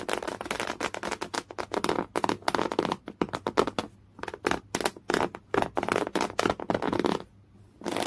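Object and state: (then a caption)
Coarse woven cotton canvas. Fingernails scratch rapidly across a folded piece of thick beige coarse woven cotton canvas, producing dense bursts of dry, rasping scratches with a bright, crackly texture. The strokes come in quick clusters separated by brief silences, and there is a short pause near the end before the scratching resumes.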